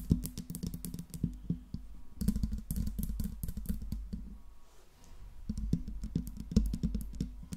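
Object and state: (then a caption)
Metal microphone grille being tapped and scratched. Long pink nails tap and scratch the hollow metal mesh grille of a silver Blue Yeti microphone. Rapid, dense clicks and taps come in uneven bursts over a low, resonant hum centered around 170 Hz, with short bright transient edges and brief scratchy passages. The taps decay almost instantly, with a quieter pause near the middle.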